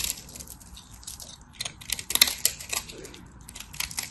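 A craft knife cuts chunks off a solid, hand-sized white bar of dry soap, with flakes falling away. The sound is a run of crisp, bright crackling scrapes and dry ticks, with little low end. It grows louder and denser in the middle, then settles back into quieter crumbly scratching.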